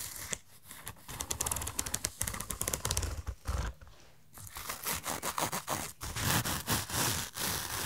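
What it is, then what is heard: Padded fabric zip pouch. Fingernails scratch along the teeth of the metal zipper on a hollow, rainbow-shaped padded fabric fanny pack, then tap and rub its padded surface. A rapid string of dry, bright scratchy ticks gives way to a brief quiet pause near the middle. Louder rubbing and tapping follows, with soft low thumps underneath.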